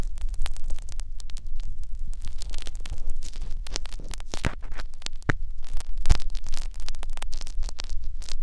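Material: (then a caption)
Silicone. Two thin metal needles on blue holders scratch in and out of the ear canal of a white silicone binaural microphone ear. The result is a dense run of close, dry scratching and crackling bursts over a steady low hum of about 59 Hz, with a few sharper, brighter clicks standing out.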